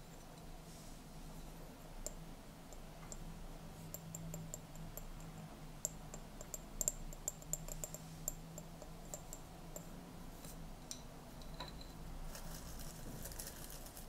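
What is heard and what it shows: A small, clear, hollow glass jar, partly filled with dried mint leaves, is held and tapped on its rim and sides with fingernails. Quiet, sharp, bright clicks and ticks with very short ring sound at irregular intervals over a steady low hum. A brief burst of brighter hiss is heard near the end.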